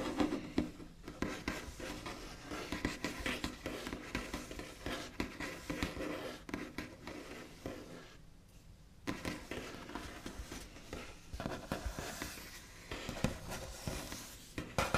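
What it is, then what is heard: Wooden table top under nail scratching and tapping. The backs of fingernails tap and trace across a large, solid, smooth white-finished wooden table top in fast, scratchy strokes. The sound is a soft, dense patter of dry scrapes and light taps with almost no ring, easing into a quieter stretch partway through before the scratching picks up again.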